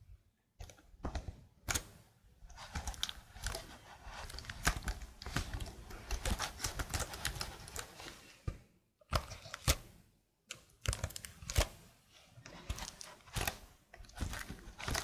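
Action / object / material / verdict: tap / plastic computer keyboard / plastic / none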